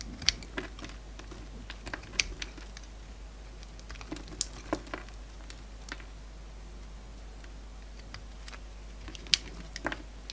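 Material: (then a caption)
Soap. A hand-sized solid pink bar of soap with a copper-coated rim, held in the hand, is shaved and cut with a utility knife blade, producing curls. Crisp, bright clicks and short scraping ticks sound at irregular intervals, each dying away almost instantly. Beneath them sits a faint, steady low hum.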